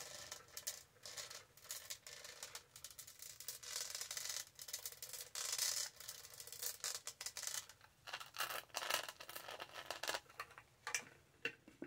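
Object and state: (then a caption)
Studded plastic tumbler. Long nails tap and scratch across the studded body of a tall, black, hollow plastic tumbler. The result is a rapid run of dry, bright clicks and rasping scrapes in uneven bursts, with almost no low end.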